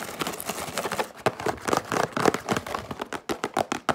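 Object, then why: Cardboard cracker box. Fingertips and long nails rapidly tap and scratch the front panel of a yellow printed cardboard Wheat Thins box, held upright, hollow and apparently filled with crackers. A dense, dry scratching rustle gives way to fast, irregular, crisp taps with a hollow mid-range knock and almost no ring.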